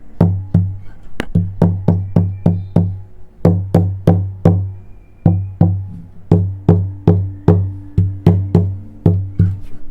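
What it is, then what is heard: Tap-tuned acoustic guitar top, resonant. Repeated taps on the wooden top of a Cort Earth 100 acoustic guitar that has had its side brace removed, its bracing thinned and its top tap tuned. About 25 distinct knocks each give a deep, woody thump centred near 98 Hz that rings briefly. The top answers with the resonant, bouncing tone that was the goal of the tuning.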